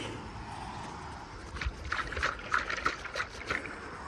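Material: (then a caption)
Coconut. A large fallen coconut, full of water, is shaken by hand. Its water sloshes inside in a quick series of splashy bursts after a brief quiet start. It is judged a good one to husk and is set aside to be opened later for a drink.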